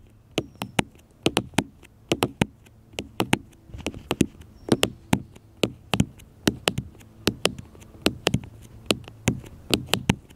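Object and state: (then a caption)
Smartphone tapped with fingertips and nails. Fingertips and nails tap repeatedly on a small black smartphone with a glass screen and plastic case, lying flat on a metal mesh picnic table. About thirty sharp, dry clicks arrive in uneven bursts, each with a bright top and a light low thud. They stop instantly with no ring.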